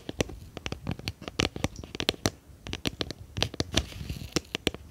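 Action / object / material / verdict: tap / small round plastic tub with lid / plastic / none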